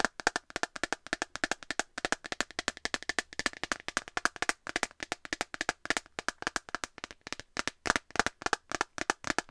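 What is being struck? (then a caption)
Clear plastic phone case. An empty clear plastic phone case held close to the mic is tapped rapidly with long nails on its flat back, about 68 times. Each tap is a short, dry, bright click with almost no ring and very little low end, centered around 1.5 kHz. The taps run in a steady, quick patter.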